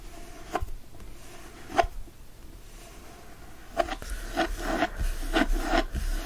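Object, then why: Cloth-covered hardcover book. A closed, solid hardcover book with a teal cloth cover and gold foil floral design, lying flat on a fleece blanket and held with one hand, is scratched across the cover with short nails and fingertips. Soft, dry rasping scratches sound in irregular strokes, each with a faint tonal edge around 690 Hz. They start sparse and grow denser and louder toward the end.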